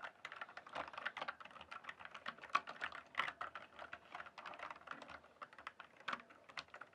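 Fingertips type and press keys on a full-size, backlit plastic RGB computer keyboard. A quiet, steady stream of rapid, uneven keystrokes sounds as short, clicky taps centered in the midrange around 1 kHz with a little high brightness. Each tap stops almost instantly, with no bass and no ring.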